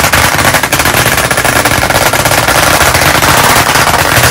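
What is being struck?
Chalkboard panel in a wooden frame.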